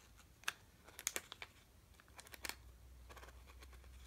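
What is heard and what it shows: A sealed red plastic M&M's bag, full of candy, is held in both hands, crinkled with the fingertips and turned over. Quiet, bright, dry crackles and crinkles come in short irregular bursts. They fade into a soft rustle over a faint low hum.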